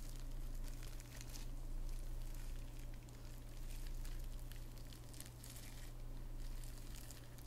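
A hand-sized, hollow, flat padded envelope lined with plastic bubble wrap is held close while long red-painted nails scratch and rub the bubbles and crinkle the wrap. The sound is a quiet, continuous mix of dense crinkling and scratchy rustle with bright bursts over a steady low hum. The crinkling swells and fades throughout.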